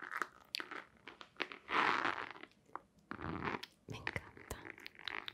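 Long nails scratch and tap on a long, hollow white cardboard box with a black stripe. Sharp, dry taps mix with crisp scratching bursts, including a longer, brighter rasp near the middle. The sound is papery and hollow, mostly in the mid and high range with little low end.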